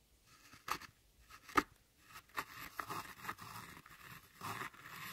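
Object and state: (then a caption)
Pressed powder eyeshadow being scraped and crushed. A thin metal tool scrapes and crushes a pile of crumbled brown pressed eyeshadow powder in a palette. Sharp, gritty scratches and crunches stand out, with two sharper clicks early on, then a longer stretch of continuous dry scraping with a bright, brittle texture.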